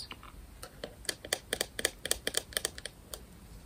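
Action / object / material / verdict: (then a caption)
tap / small plastic remote control / plastic / none. A small round grey-and-white plastic smart light remote is held close and tapped with long nails, giving about sixteen sharp, bright plastic clicks at an irregular pace. Each tap is short and dry with almost no ring, over a faint steady background hiss.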